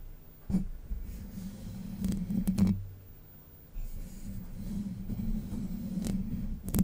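Long white nails scratch the hollow, domed steel mesh grille of a Blue Yeti microphone. It produces a dull, low, rumbling scrape with a steady hum underneath, broken by a few brief, louder scratchy bursts. There is a quiet lull partway through before the scratching resumes.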